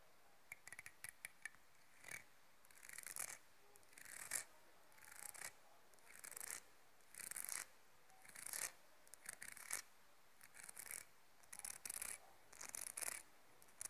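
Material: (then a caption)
Wood. Long nails run across and flick the wide teeth of a light, solid wooden comb in a scratching, rasping action. Short bright bursts of rasping and quick ticking clicks come in uneven bunches, with quiet gaps between them.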